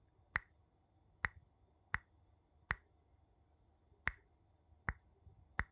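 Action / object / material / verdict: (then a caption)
tap / glass tapped with a wooden spoon / glass / none. A wooden spoon taps on glass seven times. Each tap is a short, sharp click with a brief bright ring, spaced apart over a quiet background.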